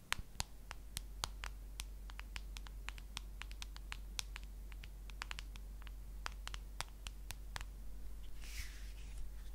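Long nails tap and scratch the back of a solid white plastic case on a handheld smartphone, making a quick series of sharp, dry, bright clicks that die away instantly. A steady low hum runs underneath throughout, and near the end a brief brighter scratch sweeps across the case.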